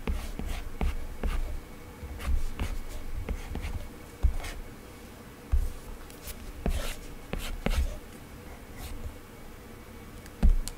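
A hard plastic Apple Pencil tip taps, scratches and glides in drawing strokes across an iPad lying flat, its glass screen covered by a matte, textured Paperlike plastic protector. Soft, low, dull taps mix with short, light scratchy strokes, with a faint steady hum underneath.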